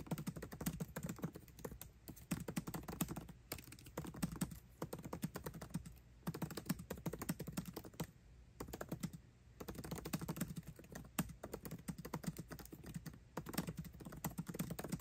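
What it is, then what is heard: Laptop keyboard with plastic keys being typed on. Fast, continuous typing with both hands' fingertips on the backlit black plastic keycaps of a 13-inch aluminium MacBook Pro laptop keyboard. The result is a dense stream of short, soft, low-weighted clicks and taps with very little ring, broken by brief pauses near 2, 6 and 8–9.5 seconds.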